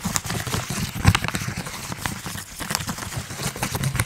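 A medium printed plastic and foil snack bag, partly filled and held in one hand, is crinkled and squeezed with the fingers. The result is a steady run of dense crackling and rustling with bright, papery edges over soft, muffled low handling sounds, peaking in a sharper crunch about a second in.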